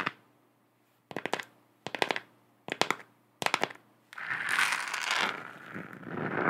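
Long acrylic nails tap rapidly on a lit, hollow, textured plastic moon globe lamp in a series of short, clicky bursts separated by brief pauses. The tapping then gives way to continuous, bright scratching across the lamp's textured surface for the last couple of seconds.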